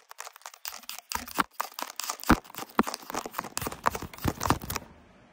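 Fingernails scratch and pinch at the weave of a flat, coarsely woven blue fabric placemat. Rapid dry scratching and crinkly, tearing-like rasps follow one another in dense bursts, with a few sharper, louder pinches among them. The sound stops abruptly near the end, leaving faint room tone.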